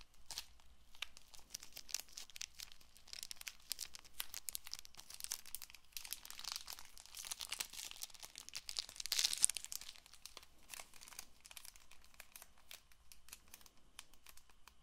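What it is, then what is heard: Cellophane-wrapped card box, crinkly scratching. A small Bicycle playing card deck box of printed paperboard, still sealed in clear cellophane, is held in both hands and scratched and tapped with long painted nails. The result is a quiet, steady run of bright, crinkly scratches and light ticks that swells slightly around the middle before settling back down.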